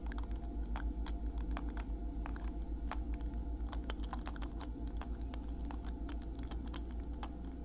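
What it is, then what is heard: Plastic lip gloss tube with metal cap. A small, slim pink plastic lip gloss tube with a silver metallic cap, filled with product, is held in one hand and tapped with the fingertips and nails of the other hand. Quick, light ticking taps come in a steady, slightly uneven patter over a constant low hum.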